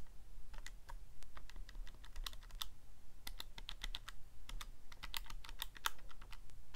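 Fingertips press the plastic keys of a Casio calculator, giving a quick, uneven run of bright, sharp clicks with short decays. A low hum sits steadily underneath the clicking throughout.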